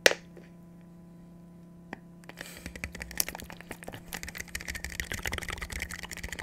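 A clear plastic water bottle with a white cap and blue label, hollow and partly filled with water, is held in both hands near the microphone and tapped with fingertips and nails. A sharp opening click and a lone tap give way to a quick, dense run of light, bright clicking taps over a steady low hum.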